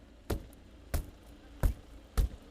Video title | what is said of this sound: 펜싱 대표팀, 장비 빌려 출국…경찰, 업무방해 수사 [뉴스START] 다시보기 2026년 06월 17일 / YTN | 이렇게 비상탈출 망치를 활용해 유리창을 깨봐도 탈출 공간이 쉽게 확보되지 않습니다.